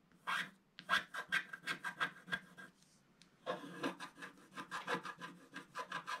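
A wooden stylus scratches the black coating of a flat scratch-art paper page, black over gold foil, working the black areas at the lower part of the page in steady strokes. Each stroke is a short, dry rasp with a bright, hissy edge, repeating quickly in an even rhythm. There is a brief pause near the middle before the scratching resumes at the same pace.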